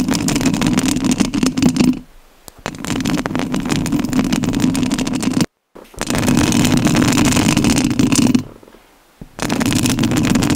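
Long nails scratch the rounded metal mesh grille of a rhinestone-covered studio microphone. The result is dense, rapid, crackly scraping with a strong low rumble around 220 Hz, heard in four bursts separated by short silent pauses.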